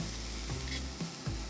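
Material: Nothing is struck.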